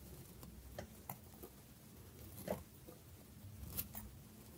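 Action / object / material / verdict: scrape / small cube of bar soap / soap / none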